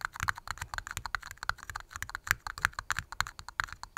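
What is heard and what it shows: Long glitter-polished nails tap rapidly on two small, hollow, empty red plastic party cups, one held upside down in each hand close to the mic. About 26 quick, dry clicks come in an uneven, typing-like rhythm, each with a hollow plastic tick centred near 1.6 kHz that dies away almost at once.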